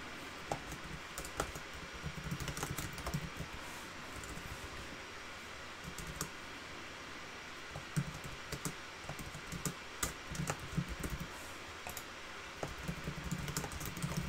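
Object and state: Plastic laptop keyboard being typed on.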